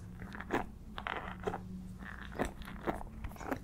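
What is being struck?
Wooden paddle hairbrush with pin bristles.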